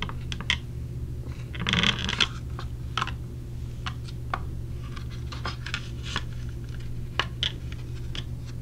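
A small clear plastic clamshell case holding silicone earplugs is held in the hand and tapped and handled with long nails. Sharp, bright plastic clicks and taps come at irregular intervals, with a short burst of rubbing and scratching near the two-second mark, over a steady low hum.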